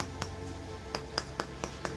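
A bamboo lid, taken off a large candle jar, is tapped six times to show it is solid wood, giving short, sharp knocks with a bright click and almost no ring. Music plays underneath. The lid is very sturdy and has a seal that keeps the jar airtight.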